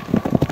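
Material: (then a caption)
Volcanic scoria. Several people stamp their feet together on hollow volcanic ground of lava and scoria, which vibrates because it is hollow underneath. Five dull, low thuds come in quick succession, each short and quickly damped, centered near 176 Hz with no bright content.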